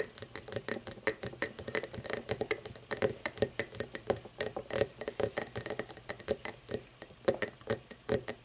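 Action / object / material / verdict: tap / cut crystal glass tumbler / glass / none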